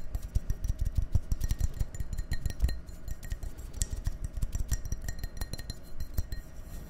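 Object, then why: Glass drinking glass. An empty, hollow, clear drinking glass, held in one hand, is tapped and scratched with fingernails. Dense, quick taps give soft low thumps with faint bright clinks and scratchy glints. The taps die away almost at once with no lasting ring.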